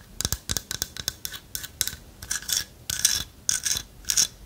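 Long nails tap and scratch the hollow lattice body of a light carved wooden owl figurine. The result is a series of quick, bright clicks and short scratchy rasps in an irregular rhythm, mostly high-pitched with very little low end.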